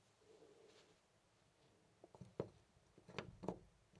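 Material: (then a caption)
Brass. A loose, round brass-finish door knob on a white panel door is gripped by the fingertips and jiggled close to a studio microphone. After about two seconds of near silence with a faint low murmur, five short, dry metallic rattles and clicks follow, with no ring after each one.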